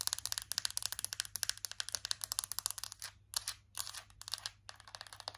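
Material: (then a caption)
Plastic. A small plastic donut compact is tapped quickly with long nails on its lid, its side and its white base. The result is a rapid run of sharp, bright clicks that stop almost instantly, with almost no low end and a few brief scratchy bursts and pauses partway through.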